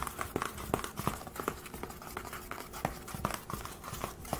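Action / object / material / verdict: tap / aluminium laptop lid / aluminium / none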